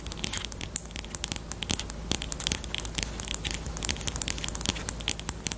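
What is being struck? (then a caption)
Plastic highlighter pen. Long, almond-shaped painted nails tap and scratch a small pink plastic highlighter pen with a black cap and a hollow body, held horizontally in both hands. The result is a rapid, uneven run of crisp, bright clicks and dry scratchy crackles, each dying away almost at once, over a faint steady low hum.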